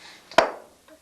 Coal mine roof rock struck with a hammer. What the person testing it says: you listen for a solid sound. That's what that miner wanted to hear.